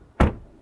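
A car door on an Audi RS5 Competition is shut once from the outside, producing a single deep, low thud with almost no high-frequency content. The sound dies away quickly and reads as a solid-sounding close.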